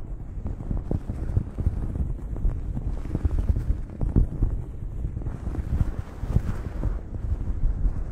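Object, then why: Cotton terry towel over a microphone. Long acrylic nails scratch a blue cotton terry cloth towel draped over a microphone. The result is a steady, dense, low rumbling rustle with soft crackling scrapes and almost no high content.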